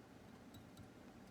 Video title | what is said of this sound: Guitar Repair - Epiphone Les Paul Junior - Video-1 | you can hear the tick-tick on each one of those strings, so you know you have a little bit of distance